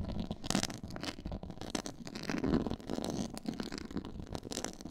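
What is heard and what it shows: Long nails scratch across a black, quilted, pyramid-textured faux leather board. The result is a steady stream of dry, rasping scratches with brief brighter bursts over a soft low rumble.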